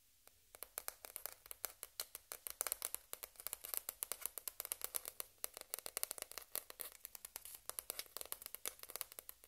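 A single small, hollow white plastic table-tennis ball, held up close, is rapidly tapped and scratched with long red-painted nails while other balls lie still on the table. A quiet, steady stream of quick, dry, bright clicks and scratchy ticks follows, each dying away instantly with no ring and almost no low end.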